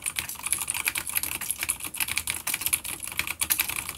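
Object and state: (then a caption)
Vintage clicky mechanical keyboard. Rapid fingertip typing with both hands on a full-size dark grey plastic vintage mechanical keyboard with grey and dark keycaps and clicky blue switches, an older B-grade unit resting on a wooden desk. Dense, bright clicks come in quick succession with very short decay and almost no low end, in a steady flurry of key taps.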